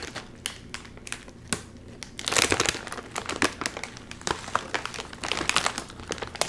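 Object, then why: Metallized plastic film chip bag. Both hands pull apart the top of a full Doritos chip bag made of metallized plastic film, crinkling the film. Sharp, bright crackles and crinkles sound in quick bursts, with a louder, denser stretch of crumpling partway through before the crinkles thin out again into scattered snaps.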